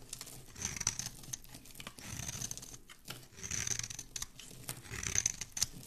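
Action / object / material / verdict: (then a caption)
scrape / bar of soap / soap / none. A palm-sized, solid white rectangular bar of soap is held in one hand and scraped along its surface with a thin black blade, shaving off flakes. The sound is a dry, crisp scratching and shaving in overlapping strokes, bright and high in tone, with a soft low rustle underneath.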